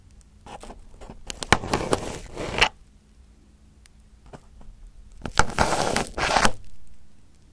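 Crumpled aluminum foil wrapped over a microphone head is touched by fingertips, then poked on top with a pin. Two bursts of close, crinkling and scraping crackle rise and stop abruptly, separated by a quieter stretch of faint ticks over a low steady hum.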